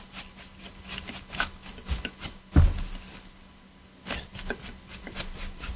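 A black PS4 controller of hollow hard plastic, held in gloved hands, has its edges and triggers scrubbed with a stiff detailing brush. Quick dry scratching and rubbing strokes come in bursts, with one heavier low knock partway through. A quiet pause follows before the brushing resumes.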